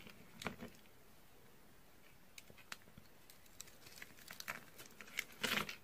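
A purple, ridged bar of dry soap is held in the hand while a utility knife scores it and fingers crunch and crumble the cut pieces. Quiet, crisp, bright crackles and dry snaps come in scattered bursts, building to a denser, louder crunch at the end.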